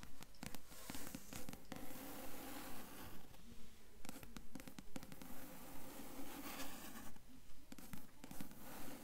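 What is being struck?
Cloth-bound hardcover book board.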